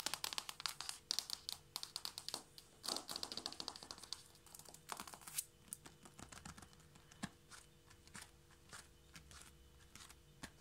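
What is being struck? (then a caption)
Hardwood floor boards. A solid hardwood floor is tapped quickly with the fingertips and nails of both hands spread flat on the boards. The result is a fast, dense patter of short, dry, bright clicks with almost no ring and a faint steady hum underneath. The taps are thickest in the first half and thin out toward the end.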